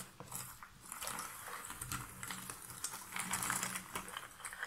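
A hand with long nails scratches and stirs through a pile of cardboard jigsaw puzzle pieces in a shallow cardboard box lid. The sound is quiet, dry rustling and scraping with many small, bright clicks and ticks as the pieces shift against each other and the lid.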